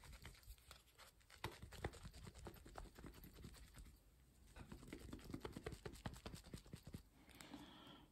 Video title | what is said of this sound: How to make butter | you'll start to hear a slapping sound